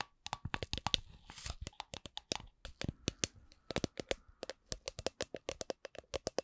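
Long nails tap the bottom and sides of a hollow, empty clear plastic drink shaker with a red lid. The result is a quick, uneven series of sharp, bright clicks and hollow plastic knocks that stop almost instantly. A faint brushing rustle is heard near the start.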